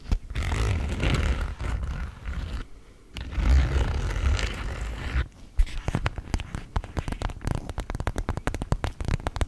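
A small, clear PVC zip makeup pouch with pink trim, hollow and apparently empty, is held in both hands and scratched and tapped with long acrylic nails. For the first five seconds there is a dense, rumbling scratch with a brief pause in the middle, then it gives way to a quick run of short, crisp plastic taps.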